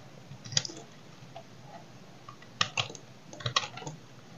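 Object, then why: Bar of soap cut with a knife. A solid oval bar of dry soap is held in the hand and cut and scraped with a small knife, breaking off chips. Sharp, dry, bright cracks and scraping clicks come in short bursts over a faint hiss, with quiet gaps in between.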